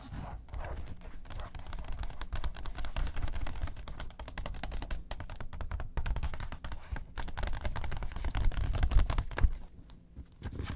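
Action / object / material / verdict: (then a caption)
scrape / glossy paper magazine pages / glossy paper / none. Long acrylic nails scratch and tap quickly across the pages of an open, thin glossy paper magazine lying on a table. The result is a dense, irregular stream of crisp clicks and papery scrapes over a low, muffled thud, easing briefly near the end.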